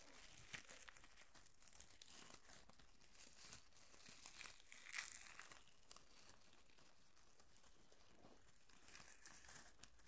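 A bunch of thin pink plastic curling ribbon, a light, hollow tangle, is crumpled and rubbed between fingertips and nails close to the microphone. Soft, steady crinkling and crackling with bright, airy rustles continues throughout. A louder crinkle swells near the middle.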